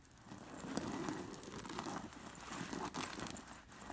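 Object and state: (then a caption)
Sequined pillow with metal discs. Fingers with long nails brush across a white woven cushion covered in sewn-on metal sequin discs. The discs give off a continuous soft, bright jingling and scratchy rustle with small bursts, and no talking.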